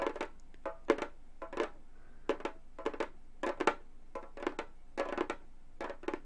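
Gold metal claw nails on both hands tap a hollow Remo frame drum with a synthetic skin head. The result is quick clusters of short, clicky taps with a hollow mid-pitched tone that dies away almost at once. The taps come in irregular bursts with brief quiet gaps between them.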